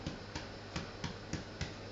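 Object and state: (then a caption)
Hollow-sounding baked bread loaf (fully baked). Seven taps on the underside of a baked bread loaf each give a short, dull, hollow knock that dies away almost at once. The hollow sound shows the bread is fully cooked.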